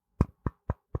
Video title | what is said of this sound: A Whole Lot More Than 2 Guys In A Basement with Shawn and Richard | you can hear me knocking on that. That's a solid metal grill